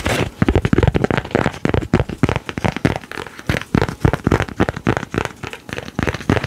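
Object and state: Laminated paper card.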